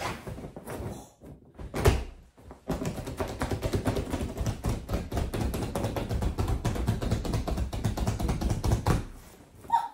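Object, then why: Inflatable vinyl beach ball. A hollow, fully inflated jumbo transparent PVC vinyl beach ball with colored stripes is tapped, patted and slapped with palms and fingertips as a woman leans on it and moves it around on a sofa. A few scattered dull thumps are followed by a long, dense run of quick, low, hollow pats that die away almost at once, with little high-end content.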